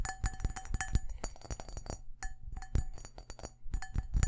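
Fingertips and nails tap rapidly on the outer wall of a large, empty, hollow cut-glass crystal bowl held up in the hands. Each tap gives a short clink with a faint glassy ring and bright overtones over a dull low thud. The quick, uneven taps run together throughout the clip.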